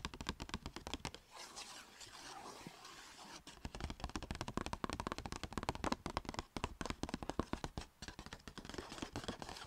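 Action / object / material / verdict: tap / paper shopping bag / paper / none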